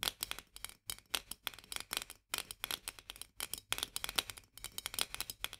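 Long nails tap and scratch quickly around the metal lid rim of a full, medium-sized glass jar of mandarin marmalade held upright in both hands. Dense, bright, dry clicks with almost no ring come in rapid bursts, separated by brief pauses.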